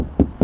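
Two dull, hollow knocks on the plastic fender panel near the xenon headlight surround of a 2013 Mercedes-Benz G350 BlueTEC, with energy mostly below 1 kHz and a quick decay. The fender sounds like plastic, a softer material meant to lessen injury to pedestrians.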